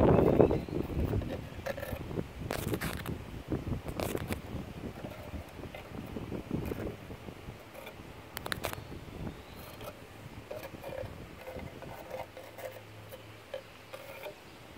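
Fingertips with short nails tap and scratch along the grey, weathered wooden slats of an outdoor table top on a solid frame, set on a lawn. Quick, uneven dry taps and scrapes with a low-mid woody tone come loudest at the start and fade to softer scratching, over a low rumble of wind noise.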